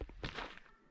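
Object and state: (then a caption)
Solid fallen sequoia log. Three knocks on the wood inside a hollowed fallen giant sequoia in Sequoia National Forest, a tree already down by 1858 and closed to vehicles because of rot. Each knock makes a dull, low wooden thunk that fades quickly. The trunk sounds solid, though not too hollow.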